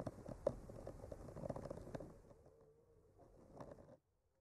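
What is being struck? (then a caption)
Painted wooden board traced with a bamboo skewer. A bamboo skewer fitted with a clipped-on mic is traced slowly along the painted lines of a flat, solid painted wooden art panel. The result is a quiet, dry scratching patter with a few soft taps that thins out toward the end and stops abruptly at about four seconds.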